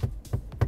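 Knocks on the soft, padded upper dashboard console of a Deepal S07, finished in a leather-like covering with stitching. Four short, dull thuds sit low around 90 Hz, dying away quickly with almost no high-frequency ring. This matches soft, semi-soft padding rather than hollow hard plastic.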